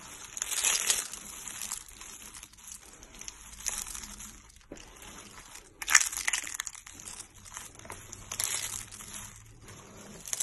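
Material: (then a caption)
Soap. Both hands press, squeeze and crush pink-orange hollow dry soap curls on a white towel into flakes. The result is a series of dry, bright crunching and crinkling bursts with very little low end, separated by quieter rustling.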